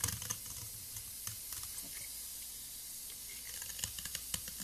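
A solid blue soap block with a flat cut face, held by fingers with long nails, is scraped with a gold metal blade that shaves off crumbly pieces. The sound is a quiet, bright, hissy scraping with scattered soft crackling ticks as the shavings break away.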